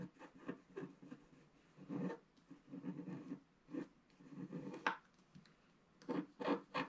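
A pointed wooden stick scratches the coating at the upper right of a flat black wax-coated scratch art card lying on a table. Quiet, dry rasping strokes come in short bursts with brief pauses between them, mostly low-mid in tone with little high sound. There is almost no ring after each stroke.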